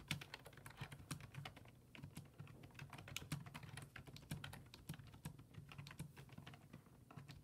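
Fingertips type rapidly on a black plastic full-size desktop keyboard with low-profile keys resting on a wooden desk. The result is a steady stream of quick, crisp clicks with bright tops over a low, hollow thump, each keystroke dying away almost instantly.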